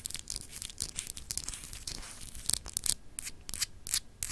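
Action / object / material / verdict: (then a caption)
scrape / small solid glass globe with etched surface / glass / none. Long acrylic nails scratch over a small, solid, clear glass globe paperweight with an etched texture. The result is a dense run of dry, bright, tearing-like scrapes, some sharper and louder than others. Each one cuts off quickly with almost no ring.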